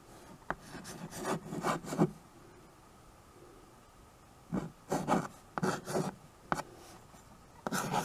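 A white chalk stick writes and scratches across a small tabletop chalkboard, a dark painted board in a wood-look frame held at the edge. Dry, raspy scraping strokes come in short bursts with a few sharp taps, separated by a quiet pause in the middle.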